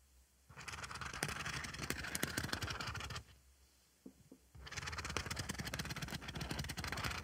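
A thin black stick scratches across the rough white dotted face of a flat oval synthetic scrubbing sponge with a pink textured edge, held in one hand. Two long bursts of dense, crackly scraping with a bright, rough texture are separated by a short quieter gap holding a few faint ticks.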